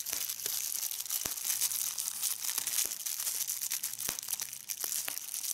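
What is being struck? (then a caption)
Plastic bubble wrap sheet. A clear plastic bubble wrap sheet is gathered in the hand and squeezed with the fingertips and nails, popping bubbles and crinkling the film. A steady, bright crinkling hiss runs throughout, broken by sharp, short pops scattered across the clip.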